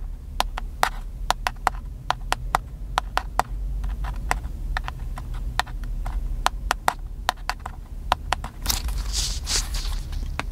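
Fingertips tap quickly and irregularly on the body of a small, hollow, black handheld plastic camcorder held in one hand, making a long run of crisp, dry clicks that die away almost at once over a steady low hum. Near the end, the fingertips rub the body, adding a brief bright, hissing scrape before the tapping resumes.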